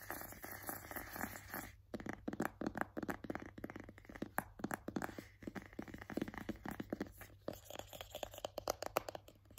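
A white cardboard box printed with AirPods is held in both hands while fingertips and nails tap and scratch it. A short, steady scratchy rustle gives way after about two seconds to a rapid run of dry, papery taps and scrapes. The sound is soft and close, with mostly mid-range clicks that stop almost instantly.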